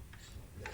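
Knocks on the inner pot of a CUCKOO CRP-RT1008F Twin pressure rice cooker give two short, dull taps with almost no ring. The deep thud confirms a thick, solid, very sturdy and heavy pot.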